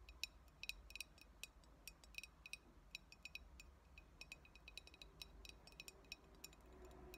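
Long acrylic nails tap and scratch the sides of a clear glass cold brew coffee bottle with a paper label, hollow and mostly empty. A quick, irregular run of bright, glassy clicks rings near 2.5 kHz and dies almost at once, over a faint low hum and soft scratching.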